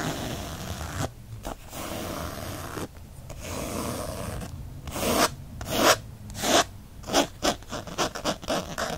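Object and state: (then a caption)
Faux leather cover scratched. Fingertips and short nails scratch a textured faux leather planner cover printed with a bookshelf design, the book lying flat. Long, continuous rasping strokes give way after about five seconds to quicker, brisker bursts of dry, bright scratching.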